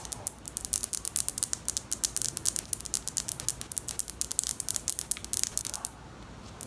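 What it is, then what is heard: Plastic wide-tooth comb. Long acrylic nails flick and scratch the teeth of a large pink hard plastic wide-tooth comb held close to the mic. The result is a rapid, steady run of sharp, bright ticking clicks with almost no ring. The run pauses briefly near the end, then resumes.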